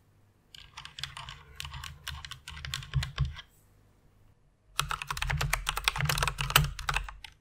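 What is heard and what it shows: Fingertips and long nails type rapidly on a white plastic mechanical keyboard with RGB backlight. Dense, clacky keystrokes with bright clicks and a low thock underneath come in two bursts, separated by a brief pause of just over a second.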